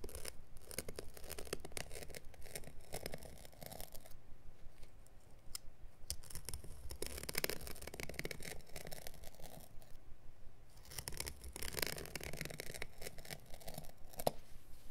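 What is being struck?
Synthetic pile carpet offcut.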